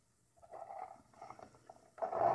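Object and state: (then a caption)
Thermoplastic armor plate. Long red-painted nails and fingertips tap and scratch the textured surface of a large, thin, curved hip armor plate made of tan Worbla thermoplastic sheet, a hollow shell lying on a wooden table. Light, hollow clicks and soft scrapes come in loose clusters after a quiet start. The sound then turns into a louder, denser rasping scrape at the end.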